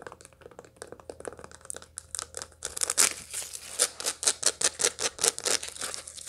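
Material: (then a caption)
Dried seeds. Long light-blue nails scratch and tap the seeds of a dried sunflower head held in the hands. The result is a rapid run of dry, crinkly clicks and rasps, soft at first and then sharper and louder partway through. The sound is mostly high and bright, with almost no low end.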